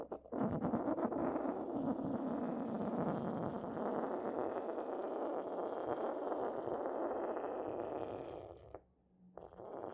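A porcelain pestle rubs and grinds against the base of an inverted, hollow, white decorated porcelain mortar. It makes a steady, dense scraping and grinding sound with a warm midrange tone. The sound runs almost continuously, goes briefly quiet near the end, and then resumes.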